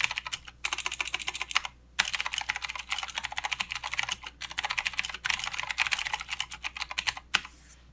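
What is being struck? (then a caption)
Plastic mechanical keyboard. Fingertips of both hands type steadily on a full-size mechanical keyboard with plastic keycaps and blue clicky switches. They produce a rapid stream of sharp, bright clicks with no ring, broken by a few short pauses. A final louder click near the end gives way to faint hiss.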